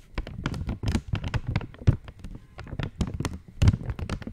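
Long nails tap and scratch an opened purple Cadbury Dairy Milk wrapper made of thin foil-lined plastic. Quick, dry taps and crinkly scratches follow one another in an uneven, busy stream. Each sound stops almost at once, and the body of the sound sits mostly low with bright crackly edges.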